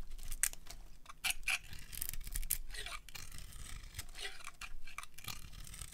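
A solid white dry soap bar with a blue and glitter painted coating is held in the hand and carved with a metal utility blade, peeling off white curls. Quick, dry scraping strokes follow one another with a crisp, high, bright shaving texture over a low background rumble.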